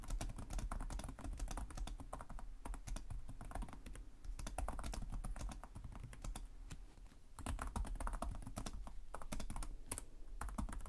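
Fingertips from both hands type continuously on the plastic chiclet keys of a black laptop keyboard. Quick, dry clicks and taps run densely over a steady low rumble, easing off briefly around seven seconds before picking back up.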